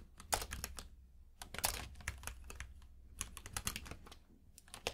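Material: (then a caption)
Plastic. Fingertips of both hands type rapidly on a compact mechanical keyboard with plastic keycaps in a grey frame, resting on a purple rug. Quick, bright clicky key taps come in uneven bursts with short pauses, each tap ending sharply over a soft low thud from the keys bottoming out.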